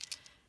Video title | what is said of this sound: Project Shares & Tips - March 2021 | so you have to shake it and hear that noise that's a good noise